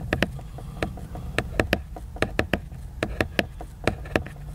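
Fingertips tap and knock rapidly on the cover of a large, glossy laminated cardboard hardcover book that is solid and flat. Fifteen short, sharp, bright taps come in an uneven rhythm, each dying away almost instantly, over a steady low hum.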